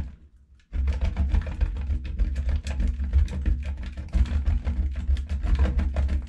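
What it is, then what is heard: Bar soap grated on a steel grater. A solid, hand-sized pink bar of soap is rubbed back and forth by hand across a stainless steel box grater, with the shavings falling onto a black plate. After a brief near-silent moment, a dense, fast run of rough scratching and grating strokes begins and continues steadily, with a heavy low body and crisp, bright rasping edges.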